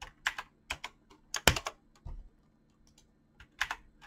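Fingertips with short nails type quickly on a mechanical keyboard with clicky switches and PBT plastic keycaps. Bright, sharp clicks come in uneven bursts, with a duller low thud of a key bottoming out just after two seconds. Each click stops almost instantly, with short quiet gaps between the bursts.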